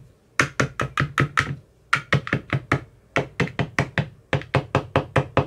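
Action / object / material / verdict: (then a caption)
tap / plastic ice cube tray with silicone cells / plastic, silicone / none. A hand-held metal rod with a white tip taps and knocks the bottoms of the teal silicone cells in an empty clear plastic ice cube tray. Short, dry knocks with a hollow low thump and a brief bright click come in four quick runs separated by short pauses. Each knock dies away almost at once.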